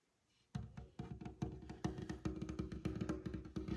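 Fingertips with short nails tap rapidly on a large, light-colored, glossy varnished tabletop of solid wood. After a brief quiet moment, a quick, uneven run of short, dry knocks begins. Each knock has a warm, low wooden body and a faint, crisp click at its start.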